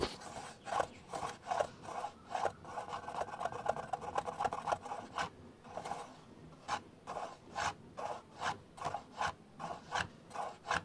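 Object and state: Plastic camcorder lens hood.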